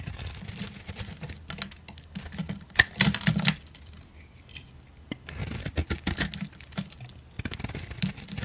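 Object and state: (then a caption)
Bar soap being shaved. A solid oval peach bar soap held in hand is shaved with a blade, giving irregular bursts of soft, crisp scraping and crackling with bright high hiss. Quieter pauses fall between the shaving passes, and short tick-like clicks punctuate the strokes.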